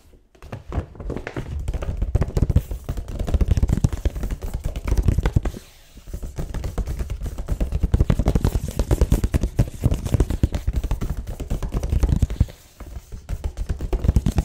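A hollow, medium silver-grey paper gift bag with a hexagon pattern and a barcode sticker stands on a table and is tapped and scratched on its side with fingertips and short nails. The result is a fast, dense stream of dull, low papery thumps and scratchy rustles with almost no ring. It comes in three long bursts separated by brief pauses.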